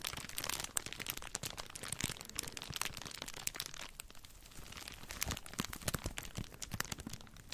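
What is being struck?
Thin clear plastic bag.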